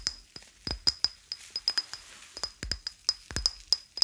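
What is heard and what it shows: A small, hollow, apparently empty white ceramic cup is held in one hand and tapped with the fingernails of the other. About nineteen sharp, irregular clicks sound, each with a brief high ping that dies away almost at once.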